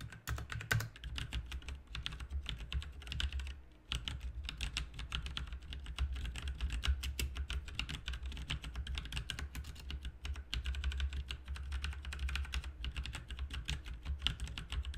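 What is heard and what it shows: Both hands type with their fingertips on a backlit RGB mechanical keyboard with plastic keycaps, producing a fast, steady stream of sharp, bright clicks and clacks. There is a brief pause just before the four-second mark, and a constant low hum sits underneath the typing throughout.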